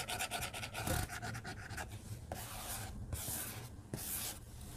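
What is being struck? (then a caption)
Glass tablet screen and plastic stylus tip. A white plastic stylus tip scratches and rubs across a glass tablet screen while coloring large areas. Quick, closely spaced scratchy strokes come first, then longer, smoother bright rubbing sweeps with a soft low rumble underneath.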